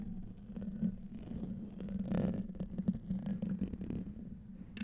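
Fingertips and short nails scratch and tap the hollow domed metal mesh grille of a large silver USB condenser microphone. The close, dense scraping carries a steady low hum-like tone near 190 Hz, broken by brief, faint ticks.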